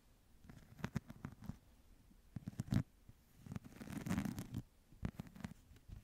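A small, flat woven wicker or rattan clutch or pouch is held in both hands close to the mic and scratched and tapped with long nails. Quiet, dull taps and rough, crackly scratching come in irregular bursts, with a longer stretch of dense scraping in the middle. The sound is soft and low-weighted, with little brightness.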